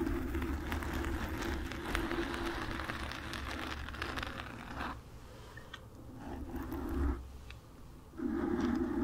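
Long nails scratch across the surface of a black foam microphone windscreen, making a dense, crackling, scraping rustle with a low rumble underneath and a steady midrange tone near 340 Hz. The scratching runs continuously for the first five seconds, drops to a quieter, thinner rustle around five to eight seconds, then swells back up loudly at the end.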